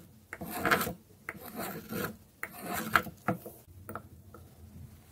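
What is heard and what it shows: A hand holds a small, solid orange bar of dry soap with a stamped logo on a wooden board while a dark metal blade scrapes and shaves its edge, piling up shavings beside it. Seven dry, raspy scraping strokes are heard, with longer filing-like rasps between sharp, bright onsets and quiet pauses.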